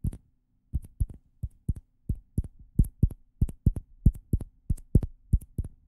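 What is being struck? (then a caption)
Two plastic ping pong balls. Two small hollow orange plastic ping pong balls, held in the fingers close to the microphones, are tapped and rubbed with the fingertips. The result is a loose, uneven run of soft, dull, low thumps, each with a faint high click, over a quiet steady hum.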